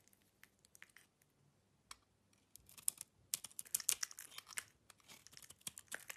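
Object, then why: Bar of soap scraped with a metal knife. A solid soap bar with a black and gold outer layer and cream core is held in the hand and peeled and scraped with a metal utility knife. Sparse, quiet, crisp ticks in the first couple of seconds give way to a denser run of bright, dry scraping and crackling flakes. There is no low-end body to the sound.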